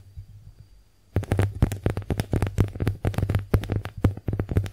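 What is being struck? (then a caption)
Porous konjac face sponge. A small, porous pink heart-shaped konjac face sponge is scratched and tapped with long nails. After a quiet first second with a faint hum, a dense run of quick, dry, crackly taps and scratches starts and continues to the end. The sound is full of soft low thumps under brighter clicks that stop almost at once.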